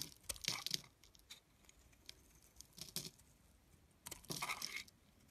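A metal blade scrapes and cuts thin curls off a palm-sized, solid blue bar of soap with embossed lettering, held in the hand. Three bursts of crisp, bright scraping and crunching come in irregular strokes, the sound mostly high with little low end. Quieter gaps lie between them.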